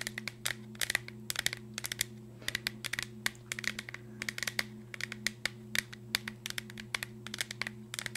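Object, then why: Cardboard chip canister with plastic lid. A green Pringles tube, a hollow cardboard cylinder with a plastic lid, is held up close and tapped and scratched with long nails, possibly with light shaking. Rapid, bright, dry clicks and scratches come in uneven bursts over a steady low hum.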